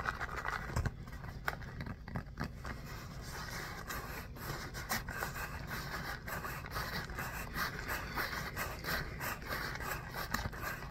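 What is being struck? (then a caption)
Small pebbled foam ball. A small orange pebbled foam mini basketball, solid, is rubbed and scratched with fingertips and short nails. It makes a steady, soft scraping texture with a low rumble and frequent brief, bright scratch accents.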